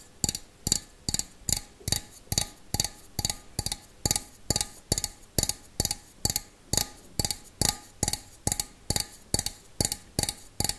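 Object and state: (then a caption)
Stainless steel bowl. A small, hollow, empty stainless steel bowl is held in one hand and tapped with the fingernails of the other. It gives a slow, even series of sharp, bright clicks, each with a short metallic ring that dies away almost at once, with quiet pauses between taps.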